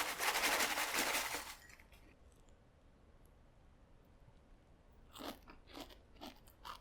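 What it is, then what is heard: Crisp baked cereal square. A loud, dense rustling crunch fills the first second and a half, then quiet until homemade keto cinnamon toast crunch cereal squares, baked and tossed in cinnamon sugar, are bitten. Several sharp, bright crunches come in quick bursts. The crisp crunch shows the squares came out perfectly crisp.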